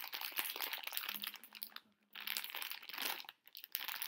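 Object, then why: Plastic bag of small hard candies. A full plastic bag of tiny conversation heart candies is squeezed, crinkled and shaken by hand. The result is dense, bright crinkling and rustling with small candy rattles, broken by two short near-silent pauses. A faint low hum sits underneath in the middle of the clip.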